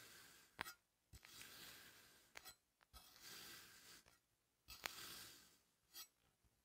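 A hand-held steel knife slices diagonal cuts through a flat, solid disc of green kinetic sand on a wooden table, carving a crosshatch pattern, and the blade may touch the table beneath. Each cut is a soft, bright, gritty scraping rasp, and six sharp clicks stand out between the quiet gaps.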